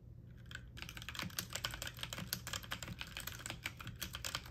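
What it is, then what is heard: Plastic mechanical computer keyboard being typed on. Keys on a full-size backlit mechanical computer keyboard with plastic keycaps are pressed fast with fingertips and medium nails, giving a rapid stream of bright, sharp typing clicks and clacks. A steady low hum sits beneath the irregular taps throughout.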